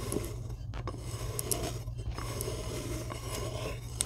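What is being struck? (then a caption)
Block of chalk. Long glittery acrylic nails scratch and dig into the top of a fist-sized solid rectangular block of white chalk resting on a white tray. The result is a steady, gritty rasping scrape over a low, constant hum, with brief bright clicks and ticks scattered throughout.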